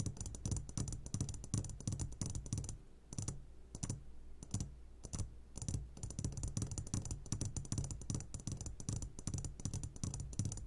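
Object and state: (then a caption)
Glass candy jar. Short fingertips of both hands tap rapidly on the sides of a medium glass jar turned upside down and full of sugared gummy candies. The taps come as a dense, fast patter of dull, low thuds with short, dry decays and faint bright clicks on top. The tapping eases briefly in the middle, then picks up again.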